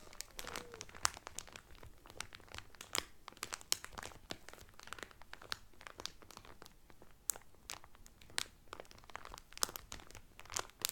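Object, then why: Thin plastic cellophane wrap over a folded towel. A folded blue terry Carnival towel sealed in thin, clear cellophane wrap lies flat on a table while fingertips with medium painted nails press and crinkle the loose cellophane. The result is a dense run of sharp, bright crackles and crisp snaps at a low overall level. Each snap dies away almost at once.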